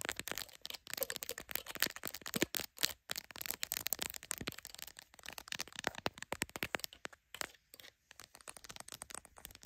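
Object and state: Smartphone camera and plastic case tapped and scratched.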